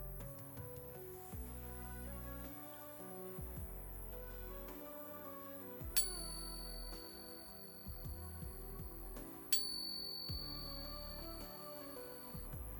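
A newly acquired Morgan silver dollar and a second Morgan dollar for comparison are each pinged on a coin ping tester, giving two sharp, high ringing tones that sustain for a few seconds over background music. The two coins ring much alike, and both are judged to be good, genuine silver.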